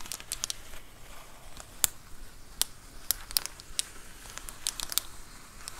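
Long acrylic nails scratch and tap across the bubbled plastic of a large white plastic Amazon Prime bubble mailer lying flat. The result is a soft, continuous crinkle broken by a steady scatter of sharp, bright clicks and taps that stop instantly, each with almost no ring.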